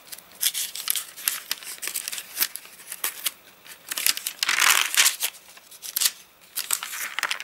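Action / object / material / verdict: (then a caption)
scrape / paper catalogue pages / paper / none. Fingertips scrunch the dried, crinkled pages of an open rain-dried paper catalogue and flip the page edges. Bright, dry crinkles and crackles come in quick bursts, with a longer, louder crunching rustle in the middle before the lighter flicks resume.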